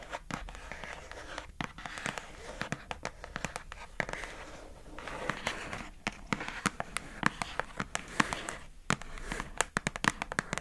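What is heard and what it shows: Long acrylic nails tap the lid of a pink, hollow plastic food container box, then the box is turned in the hand. The result is a quick, uneven run of sharp, dry clicks that stop instantly, with soft rustling and crinkly scraping filling the gaps between them.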